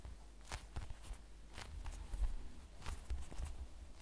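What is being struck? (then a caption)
Polyurethane foam squishy toy. A hand-sized, toast-slice-shaped squishy made of solid polyurethane foam with a light brown crust edge is held in both hands, squeezed and tapped with the fingertips. It produces quiet, soft, muffled low thumps with brief faint crackly ticks over a low rumble. Each tap dies away almost at once.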